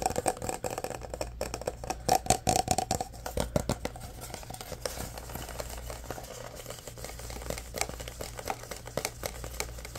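A full orange Prime plastic drink bottle with a cap and plastic label is tapped and scratched with fingernails on both the bottle and the label. Quick, dry clicks and taps with a bright, brittle plastic edge come in a dense cluster early on. A steady, softer scratching rustle follows, over a faint low hum.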